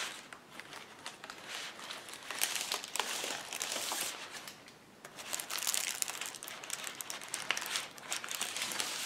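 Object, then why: Plastic bubble wrap sheet. Fingers lift, crumple and squeeze a large, clear plastic bubble wrap sheet with air-filled bubbles as it rests on a table. The result is a steady stream of bright, crisp crinkling and crackling with almost no low end. It swells louder in bursts and dips briefly near the middle.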